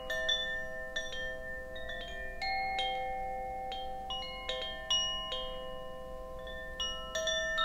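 A bamboo Koshi wind chime, a hollow bamboo tube chime with a wooden clapper, is held by its cord and shaken. Its clapper strikes the rods at irregular moments, each strike releasing clear, bell-like tones with bright upper overtones. The tones ring on and overlap into a soft, shimmering wash.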